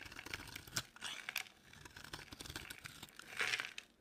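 A utility knife blade scrapes a dry, solid pink oval soap bar, shaving it into flaky curls. The sound is a run of dry, crisp, crinkly scraping with bright, high-pitched texture, with sharper crunchy bursts near the start, in the middle, and a louder stretch toward the end. Each scrape stops quickly with almost no ring.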